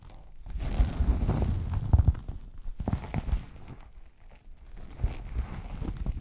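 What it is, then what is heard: Vinyl-covered hard zip case. A medium red Lotte Ghana-branded hard-shell zip case with a faux-leather/vinyl covering, hollow and closed, is held upright in front of a microphone and tapped and scratched across its front face with fingertips and short nails. The sound is a run of dull, deep, muffled thumps with almost no ring, mixed with soft brushing scratches that dip into quieter stretches between bursts.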